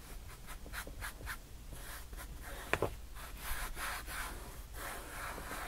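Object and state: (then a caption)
Glitter-covered foam board. Long painted nails tap and scratch across loose black, silver, yellow and purple glitter on a flat, solid white foam board. Soft, gritty rubbing strokes repeat steadily throughout, broken near the middle by two sharper taps close together. The scratching then carries on at a quiet, even level.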